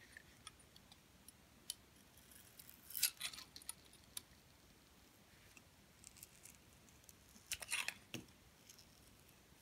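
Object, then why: Bar of soap scraped by a metal blade. A metal blade scrapes and peels strips off the surface of a hand-held solid dark soap bar with gold glitter. Quiet, bright, crisp crackles and ticks come at irregular intervals, building into two louder scraping bursts around 3 and 7.7 seconds, each sound dying out almost instantly.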